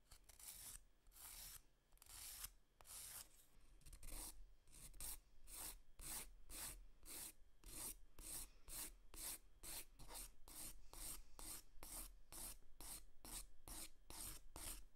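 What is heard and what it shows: A long, thin, flat grey emery board with abrasive grit on a stiff core is drawn back and forth across short natural fingernails. It makes a dry, bright rasping scrape. Slow, longer strokes at first quicken into a steady run of short, evenly spaced filing strokes.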